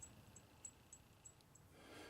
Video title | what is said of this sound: 76 Height Gage Dovetail Indicator Holder | sitting in its maximum hardness you can hear how it rings